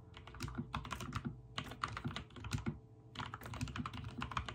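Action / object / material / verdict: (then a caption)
tap / mechanical keyboard with plastic keycaps / plastic / none. Fingertips type rapid key presses on a backlit mechanical keyboard with white and teal plastic keycaps. Dense bursts of short, dry clicks and clacks with a low thocky body run in quick runs, separated by brief pauses near 1.5 and 3 seconds.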